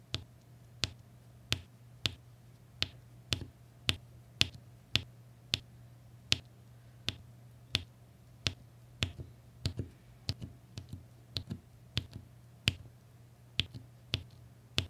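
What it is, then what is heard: Resin diamond painting drills being tapped onto canvas. A plastic applicator pen taps small solid resin diamond painting drills in red, blue and beige into place one after another on an adhesive canvas. Each tap is a sharp, bright click that dies away almost instantly, coming in a steady series with a few quicker, softer clusters later on. A constant low hum sits underneath.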